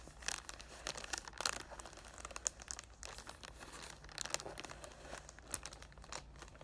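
A cardboard "Thank U Next" perfume box in clear cellophane wrap is held in both hands while fingertips with short dark nails rub and crinkle the plastic film. The result is a steady stream of bright, crackly crinkling with frequent sharp snaps, over a faint low hum.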